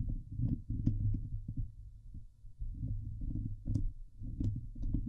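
Both hands scratch the hollow steel wire-mesh grille of a Blue Yeti microphone head with long painted nails. The result is a dense, booming low rumble of scraping, with brief bright clicks and ticks from the nails catching on the mesh, in uneven bursts that briefly thin out midway.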